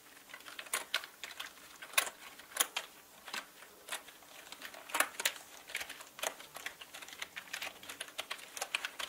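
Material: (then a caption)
Plastic. Fingertips slowly type on a full-size black mechanical gaming keyboard with plastic keycaps and a hollow body. Uneven clicks and clacks arrive in an irregular rhythm, each a short, bright, hollow plastic tap with almost no low end. The key strikes are quick and dry, fading almost instantly.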